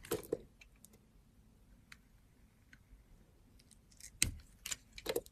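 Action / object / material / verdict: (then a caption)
scrape / glycerin soap bar / glycerin soap / none. A utility knife blade scrapes and carves a solid oval, blue, translucent glycerin soap bar held in the hand, curling shavings off it. Short, crisp, bright scraping clicks come in a cluster at the start and again near the end, with a quiet low hum in between.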